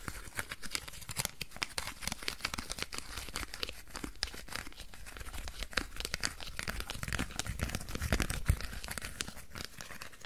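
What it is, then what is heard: Crumpled aluminium foil ball. A hand-sized ball of crumpled aluminium foil is squeezed, crinkled and scratched with fingertips and nails. The result is a dense, continuous stream of sharp, bright crackles and crinkles over a low rumble from handling, with louder bursts toward the end.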